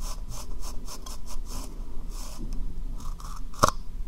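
Long painted nails tap and scratch the sides of a small, hollow, dark brown hard plastic cup with a white rim, held upside down over the microphone. Rhythmic bursts of bright, scratchy rubbing repeat over a steady low rumble, ending with one sharp, ringing tap near the end.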